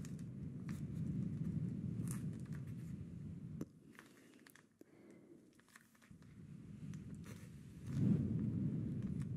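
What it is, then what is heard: Plastic gel bead ice pack. A clear plastic gel-bead ice pack, a pouch of teal gel beads held in both hands, is rubbed and squeezed with fingertips and short nails so the beads shift inside. It makes a dense, low, crinkly squishing and rustling that drops to a quieter patch in the middle, then swells louder again near the end.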